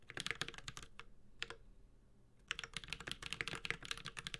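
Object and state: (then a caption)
Mechanical keyboard with plastic keycaps. Fingertips of both hands type on a Space65 Cybervoyager, a 65% mechanical keyboard with Holy Panda switches, a white-gold metal case and ABS keycaps. Quick, bright, clacky keystrokes come in bursts, with a short lull near the middle before steady typing resumes.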